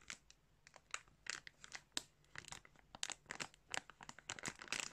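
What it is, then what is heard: Plastic bag of yarn crinkled. Fingertips pinch and crinkle the surface of a thin clear plastic bag stuffed with yarn. The result is a quick, irregular series of crisp, bright crinkling bursts with almost no low end. Each burst cuts off sharply, with faint rustling between them.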